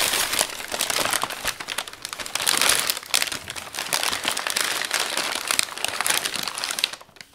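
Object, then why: Thin brown kraft packing paper. Bare hands crumple, press and smooth large sheets of thin brown kraft packing paper draped over a flat framed wall piece. The result is a dense, bright, continuous crinkling with quick crackles that swells and eases in waves, then falls off to near quiet just before the end.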